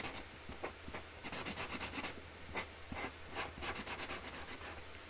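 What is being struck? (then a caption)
Felt-tip marker nib on a cardboard box lid. A pink felt-tip Sharpie marker colours a flower on a flat white cardboard box lid, its nib rubbed back and forth across the cardboard surface. Quick, bright, scratchy strokes come in bursts over a steady low hum.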